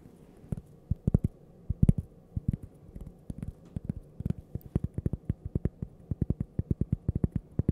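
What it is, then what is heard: Cork coaster. A small, flat, solid cork coaster shaped like a slice of toast is held in the hand while long purple nails tap and scratch its face and edge. Dozens of short, dull, low taps follow one another, irregular and clustered at first, then a steadier rapid rhythm. Faint scratching rustles sit underneath, and each tap dies out almost instantly.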